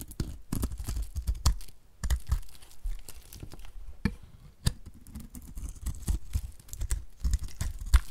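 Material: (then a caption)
Soap. A utility knife blade scrapes flaky chunks off the face of a solid, oval, pale pink bar of dry soap held in the hand. The clip is a dense run of short, dry, crumbly scraping crunches, mostly low and thumping with brief bright crackly edges.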